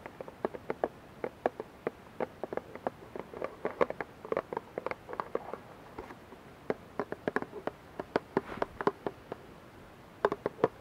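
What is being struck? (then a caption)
Plastic squeeze bottle with liquid. Fingernails tap the front and sides of a clear plastic dish soap bottle, partly filled with liquid and held in both hands. Quick, dry clicks come in irregular bursts, each a sharp tick with a hollow plastic tone around the mids and a bright edge that dies away almost instantly.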